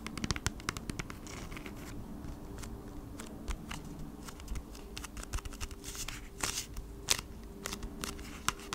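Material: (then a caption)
Cardboard. Long nails scratch and tap across the surface of a flat cardboard Bee's Wrap package, which is brought close to the mic at one point. Sharp, bright clicks and scratchy bursts stand out over a steady low hum, with the loudest taps coming near the start and toward the end.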